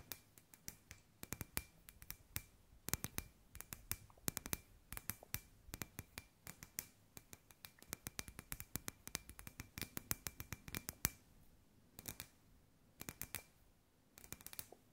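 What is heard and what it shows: Long white nails tap quickly across a hand-sized, hollow, clear glass sphere lamp with fairy lights inside, held in both hands. The sound is a dense run of short, sharp, bright clicks with a faint glassy ring, over a soft low hum. The tapping comes in clustered bursts, with brief quieter gaps toward the end.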